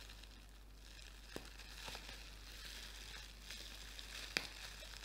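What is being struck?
Plastic bubble wrap sheet.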